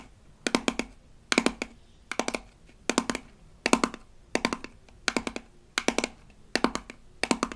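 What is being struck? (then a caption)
Small rigid plastic toy tube. Long acrylic nails tap and scratch the label of a small rigid plastic toy toothpaste tube from a Melissa & Doug Super Smile Dentist Kit. About ten evenly spaced bursts of quick, dry, bright clicks sit over a faint low tone. Each tap dies away almost instantly, leaving near silence between bursts.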